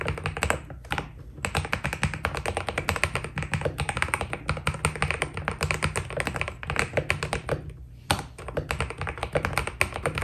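A white Keydous NJ80 mechanical keyboard with PBT plastic keycaps is typed on steadily with the fingertips of both hands. The result is a fast, continuous stream of short, dry key taps with a low, thocky body and crisp bright clicks on top, broken by a few brief pauses.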